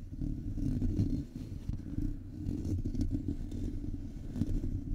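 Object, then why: Metal mesh microphone grille. Fingertips and nails of both hands tap and scratch the bare, hollow metal mesh grille of a Blue Yeti USB microphone with its foam cover removed. The result is a dense, boomy rumble of soft thumps and scrapes, almost all of it low in pitch, with little high-end crispness and no pause between the touches.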